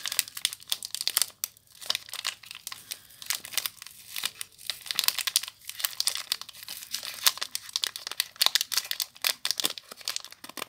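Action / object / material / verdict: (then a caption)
scrape / soap bar in a thin plastic wrapper / plastic film / none. Long nails scratch and crinkle the clear plastic wrapper on a small soap bar, producing dense, bright crinkling with quick, dry scratches and crackles. The sharp, closely packed bursts rise and fall in loudness throughout, with almost no low end.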